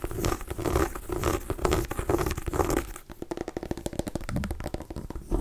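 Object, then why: Small gourd pumpkin. A small cream-and-orange striped white mini pumpkin, a hollow gourd held in the hand, is scratched and tapped with long nails. For the first three seconds, a dry scratching rasp swells and fades in rhythmic strokes. It then gives way to a quick run of sharp, hollow tapping clicks with a faint low resonance.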